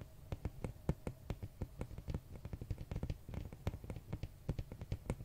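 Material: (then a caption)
Cardboard. Fingernails tap on the glossy printed red cover of a large, flat hardcover art book held at an angle. The result is a quick, irregular series of soft, dull taps that stay quiet, sit low around 145 Hz, and die away almost instantly.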